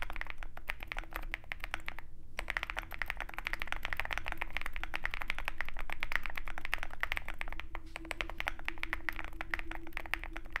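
Fingertips of both hands type rapidly on a compact 65% Zoom65 mechanical keyboard with a dark metal case and white and black plastic keycaps. A dense, steady stream of short, crisp key clicks with a bright edge continues throughout, over a low rumble.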